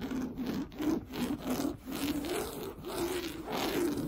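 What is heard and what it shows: Fingernails scratch and rub quickly back and forth across an orange, coarse-weave fabric sofa cushion. The result is a steady run of rough, rasping strokes with a low-mid hum around 320 Hz, a brighter hiss on top, and a loose, uneven rhythm.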